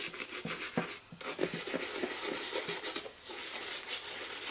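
A hollow black and green leather high-top sneaker, held upright by one hand, has its soapy toe and upper scrubbed back and forth with a toothbrush. Dense, bright bristle scratching and rubbing runs throughout in quick strokes, with faint wet, muffled tones underneath and brief lulls between passes.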